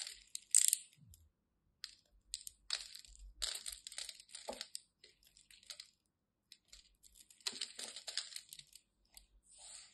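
A solid white bar of soap held in the hand is scraped and carved with the tip of a craft knife, flakes crumbling off. Short, dry, bright crunching and scratching bursts come in irregular clusters separated by brief silences, with almost no low end and very little ring.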